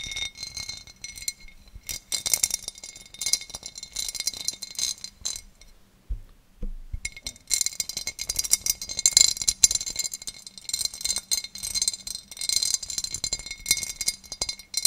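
A large, empty oval serving dish of clear cut glass is held up and tapped and scratched with long nails. Dense bursts of bright, crisp clicking and scraping come in rapid runs, broken by a brief near-silent pause around the six-second mark. A faint steady high tone lingers under it all.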